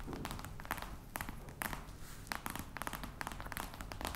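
Long red nails tap and scratch the top of a flat, hollow black box covered in embossed faux-crocodile leather. Quick, dry clicks with short bright transients come through over a low, steady rumble. Soft scratchy rustles fill the gaps between taps.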